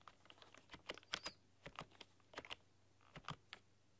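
Long dark-polished nails and fingertips type on a full-size plastic computer keyboard with black keycaps and a rainbow backlight, pressing and clicking the keys. Sharp, bright clicks and taps come in an uneven run over a faint low hum, each dying away almost at once.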